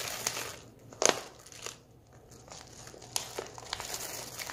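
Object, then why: Foil-lined plastic candy pouch. A medium foil-lined plastic M&M's Minis stand-up pouch, open and nearly full of small candy-coated chocolates, is held in both hands while fingertips crinkle and squeeze its edges. Bright, crackling plastic crinkles come in short bursts, with a sharp loud crunch near the start and another later, as the candies shift inside.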